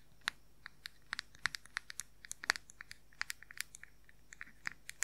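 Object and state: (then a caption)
Plastic powder compact tapped. Fingernails scratch and rapidly tap a round plastic makeup powder compact with a printed lid, held close to the microphone. About 25 sharp, dry, bright clicks and scratches sound at an uneven fast pace, each dying out almost instantly. They sit over a faint low hiss.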